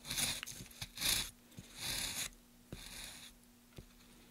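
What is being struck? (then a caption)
Pine wood plank. A gloved hand pushes a wooden-handled chisel along a solid, light pine softwood plank with carved grooves, scraping and cutting the wood. Several bright, hissy scraping strokes come in separate bursts, with a few short dry ticks between them and a faint low hum underneath.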